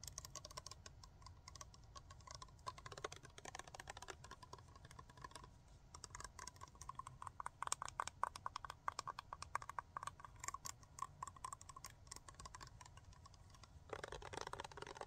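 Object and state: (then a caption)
Plastic cosmetic bottle. Long nails tap and scratch the black cap and body of a clear plastic cosmetic bottle, partly filled with blue liquid and wearing a paper label. Fast, dense, dry clicks patter over a steady hiss and a faint tone near 1 kHz. The taps peak around the middle, and a louder, denser scratching burst comes near the end.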